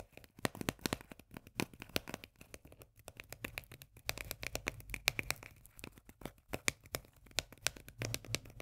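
A small, full, sealed steel can of sweet corn with a paper label is held in the hands and tapped and scratched with long nails. The result is a quick, steady run of short, bright, dry taps with almost no ring, mixed with soft scratching between them.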